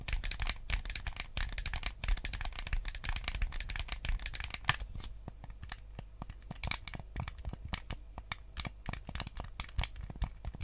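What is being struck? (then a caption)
Plastic game controller shell. Fingertips and nails scratch and tap the back and sides of a white GameCube controller with a hollow plastic shell. The first half is a dense, bright scratching with quick clicks; after about five seconds it thins into sharper, separate taps that die away almost instantly, over a low rumble.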